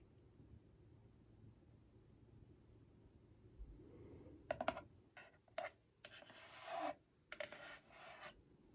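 Long painted nails rub and scratch the front of a tall, hollow holographic cardboard album box. After about four seconds of faint low rumble, short dry scratching bursts and brief rubbing strokes follow one after another. They have a papery, bright hiss and a slight hollow resonance around 660 Hz.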